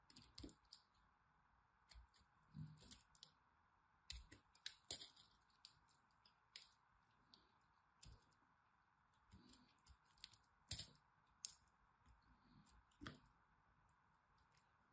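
A small metal blade carves and scrapes a dried, crumbly green soap chunk held in the hand, breaking off flakes. About two dozen short, sharp, bright clicks and crackles come at irregular intervals, each dying away almost instantly. A faint steady hum sits beneath them.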